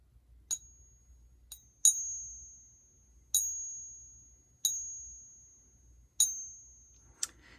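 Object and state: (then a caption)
Counterfeit silver coin (brass). A counterfeit silver-colored Mexican Libertad coin, likely brass, is balanced on a finger and struck with a real coin in a ping test. Several taps each give a thin, high-pitched metallic ping that fades quickly, not the long resonant ring of silver. The coin had already been identified as fake from visual differences.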